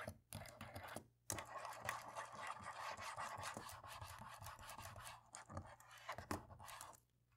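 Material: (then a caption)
Plastic. A cotton swab scratches between the black plastic keys on the top right of a laptop keyboard. The result is a continuous dry, bright scratching and scraping with quick clicky bursts. There are short pauses near the start and the sound fades out at the end.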